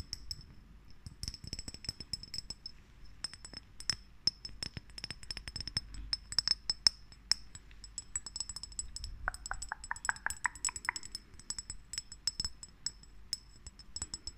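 A small, hollow white star-shaped Christmas ornament with a teddy bear design and a metal cap, made of ceramic or glass, is tapped and scratched with long painted nails. Quick, dry clicks and light chinks with almost no ring come in a steady scatter. A bright, high tone threads through the taps, and a brief scratchy passage comes near the middle.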